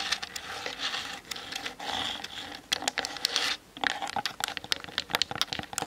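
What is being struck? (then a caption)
Plastic camera body. Long acrylic nails tap fast on the top and sides of a Canon DSLR's hard plastic body around the lens barrel, with the camera on a tripod. The result is a rapid, dense run of bright, dry plastic clicks and scratchy taps that stop instantly with no ring. Smeared, rustling stretches of tapping give way to sharper, more separated clicks near the end.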